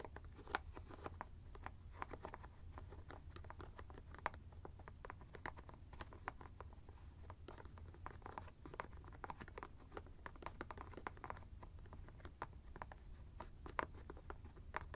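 A white hard plastic screw cap of an ice bag, held steady, is tapped with an index finger and scratched with a fingernail. The result is a quiet, steady stream of short, crisp plastic clicks and scrapes centered around 1 kHz, with bright edges over a low, continuous rumble.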